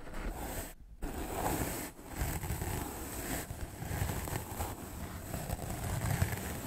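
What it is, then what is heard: Melamine foam sponge being brushed. A white rectangular magic eraser block of solid melamine foam is held in the fingers and brushed fast with a large soft black makeup brush. The result is a steady, rough, whooshing scratch, heavy in low rumble, broken by a brief near-silent gap just before the first second and a short dip around the second.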